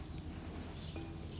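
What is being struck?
Nothing is struck.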